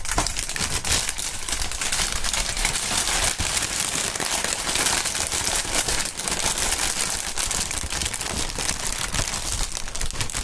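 A clear polyethylene air-pillow packaging strip, hollow and air-filled, is crinkled, squeezed and waved by gloved hands with bare fingertips. It makes a dense, continuous bright crinkling and crackling at a steady level for the whole clip, with some low rustle underneath.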